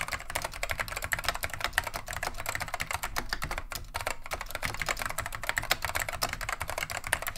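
A beige plastic vintage Wang 725 mechanical keyboard with Alps switches is typed on continuously with the fingertips of both hands. The result is a steady, dense stream of short, crisp clicky clacks, bright in tone, with quick overlapping keystrokes and a light low thud beneath.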